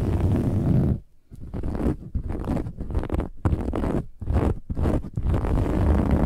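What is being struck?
Fabric-covered pillow with metallic woven cover.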